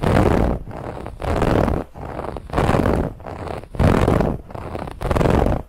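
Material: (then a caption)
Woven fabric. Fingernails scratch aggressively over the woven lattice band of a soft white pillow. The strokes come in a steady back-and-forth rhythm, alternating louder and softer passes. Each is a dense, dull rasping scrape weighted toward the low end, with little brightness.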